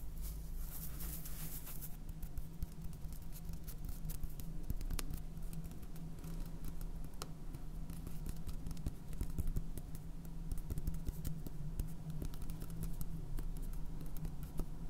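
Fingernails tap rapidly on the body of a clear plastic 750 g salt jar with a red cap, full of white salt. The result is a dense, continuous patter of short, dry clicks over a steady low hum near 59 Hz.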